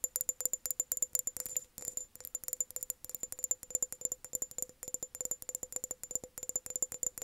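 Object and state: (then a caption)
Empty glass jar. Long nails rapidly tap and rattle an empty, hollow glass mason jar held tilted with its base forward. The result is a fast, steady stream of crisp, dry clicks with a bright, high glassy ping and a faint lower ring, each tap dying away almost instantly.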